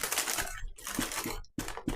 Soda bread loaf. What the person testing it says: when you knock it it's supposed to sound hollow